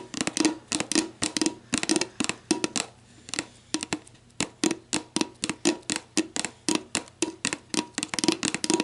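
Long black nails scratch the ridged base of a clear, hollow, mostly empty plastic sports drink bottle lying on its side, then tap its labelled body. The result is a loose, uneven run of quick, bright plastic clicks and taps with a hollow tone around 330 Hz, each dying away almost instantly, mixed with faint scratchy rasps.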